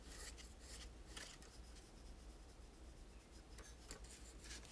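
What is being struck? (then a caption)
Plastic toy tower. A hollow plastic toy tower with teal and pink parts is rubbed and wiped with a cloth by fingertips. A soft, continuous rubbing and swishing is heard, with bright brushy bursts over a low steady hum.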